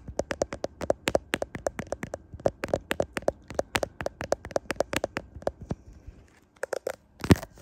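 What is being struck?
Smartphone in clear plastic case.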